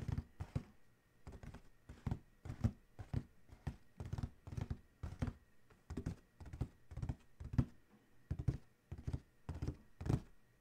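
Fingertips of both hands tap quickly on the closed lid of a large, hollow black cardboard Adidas shoe box. Bursts of soft, dull, low thuds roll in uneven clusters, each hollow knock dying away almost instantly with no ring.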